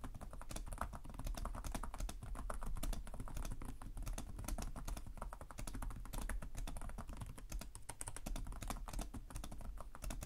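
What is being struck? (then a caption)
Plastic laptop keyboard. Both hands type with their fingertips on the plastic chiclet keys of a black laptop with a hollow chassis. A steady stream of rapid, short, dry taps runs for about ten seconds, with a low, hollow body under each clack and no ringing after.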